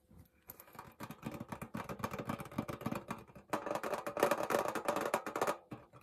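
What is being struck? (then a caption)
Small printed tin pencil case. Painted fingernails rapidly tap the printed lid of a small, flat, rectangular pink Hello Kitty printed tin pencil case that is hollow, apparently closed, and held in one hand. The taps are quick, irregular, and light, with short tinny clicks that fade fast. They come in two dense bursts with a brief dip in between, and the second burst is brighter and louder.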